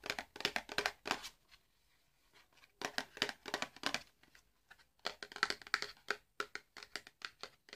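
A small, hollow, red printed cardboard box holding a candle is held in the hands and tapped and scratched with the fingernails. Quick, dry, bright scratching and tapping come in dense bursts, with a near-silent pause before the scratching resumes. Each sound stops at once with no ring.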